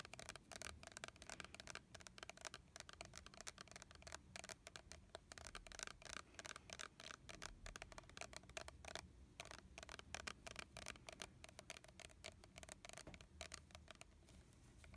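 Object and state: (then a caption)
Plastic body mist bottle tapped and scratched. A hand-sized, red translucent plastic body mist bottle with a leaf-print label, hollow and holding liquid, is gripped in both hands and tapped and scratched with fingernails on the label and body. Quick, dense, dry clicks and scratchy taps run throughout, bright and crisp with almost no ring, over a faint low rumble.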